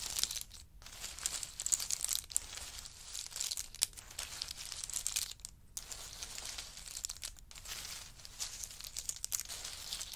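Two wooden spoons dig into and stir a heap of in-shell pistachio nuts resting on a fur mat. Their hard shells give off a steady, bright, crackling clatter with sharp clicks, broken by a few brief pauses, and very little low end throughout.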